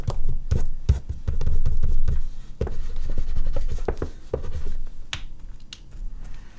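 An oil pastel stick is rubbed in hatching strokes over a large flat sheet of artist's paper on a board, with a hand resting on the drawing throughout. The strokes make a dull, low, scratchy rubbing with short tapping onsets at an irregular, fairly quick pace, rising and falling in loudness with little ring.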